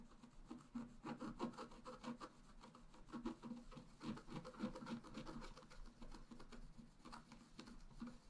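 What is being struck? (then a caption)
Wax-coated scratch-art paper scraped with a wooden stylus. A wooden stylus point is scratched across the black coating of a flat A4-size scratch-art sheet with a rainbow layer underneath, lying on a table while the other hand holds the sheet. Quiet, dry, rubbing scratches come in short strokes of uneven strength, with a low-mid rasping body and a faint bright hiss.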